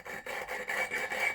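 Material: Steel.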